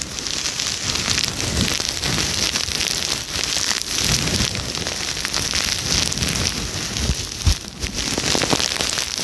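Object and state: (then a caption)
Crocheted yarn sponge being scratched. Long red nails scratch a round red-and-white crocheted yarn scrubber sponge, soft and puffy, held in the hand. A steady, dense, bright scratching hiss runs throughout, much like rain on a surface. One sharper tap stands out near the end.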